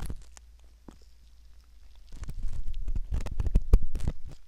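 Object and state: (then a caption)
Silicone ear model being scraped. A curved metal pick scrapes the canal opening of a soft silicone ear model, heard very close up. Faint, sparse scratches in the first two seconds give way to a louder run of dense, irregular scraping and crackling with a deep, muffled low end.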